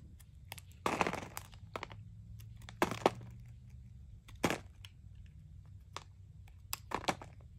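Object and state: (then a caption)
Dry soap bar being cut. A metal knife carves and shaves crunchy curls off a small, solid green bar of dry Coast soap with a painted surface, held in one hand, scattering shavings below. Sharp, dry cracks and brief crunchy scraping bursts, some bright, stand out irregularly over a low, steady hum.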